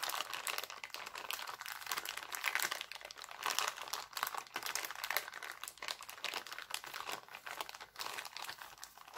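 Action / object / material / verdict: scrape / thin plastic cellophane bag / cellophane / none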